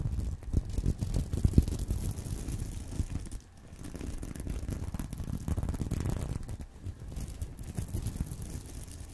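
Fingernails on both hands scratch across the surface of a flat, reversible plastic sequin purse resting on a pillow. The result is a dense, continuous, muffled rasping with a low rumbling body and little brightness. The scratching briefly drops away around the middle and again near the end.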